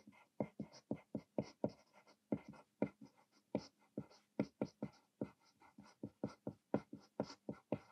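A thick graphite lead in a green clutch pencil scratches across a thin white paper sheet that rests on a desk and is already partly written on, in steady handwriting. About 26 short, dry, scratchy strokes come in a quick, even rhythm, with a faint low hum beneath them. The overall sound is quiet and close.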